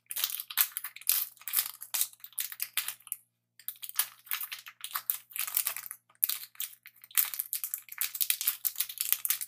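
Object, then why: Metallic plastic candy bar wrapper. A Twix candy bar in its metallic plastic wrapper is held in both hands while fingers crinkle and rub the wrapper. It makes dense, bright, crackling crinkles in quick irregular bursts, with brief pauses around the middle, over a faint steady low hum.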